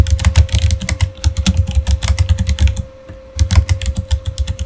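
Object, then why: Plastic mechanical keyboard. Fingertips of both hands type steadily on a full-size Razer gaming keyboard with plastic keycaps on mechanical switches and an RGB backlight. The rapid keystrokes land as deep, thocky clicks with short bright ticks and a faint steady hum underneath, with a brief pause just before the typing picks up again.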